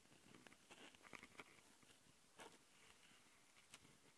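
Long painted nails on both hands scratch the two X/Y mic capsules of a small, hollow, black plastic Tascam handheld recorder, whose capsules have metal mesh grilles and red rings. Up close, it makes a quiet, dry, bright scratchy patter with crackling grit and a few sharper clicks and ticks that stop dead with no ring.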